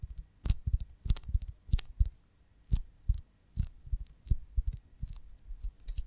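A large oval beeswax honeycomb on a branch is held in both hands while long nails tap and scratch its waxy cells. The result is an irregular run of soft, dull low thumps, each with a brief bright click or scratch on top, and short quiet gaps between the bursts.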